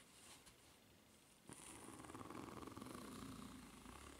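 Long red nails scratch along the fine-ridged underside of a white solid rubber flip-flop sole. A soft, quiet hiss builds at about 1.5 seconds into a rapid, rhythmic rasping that churns steadily to the end.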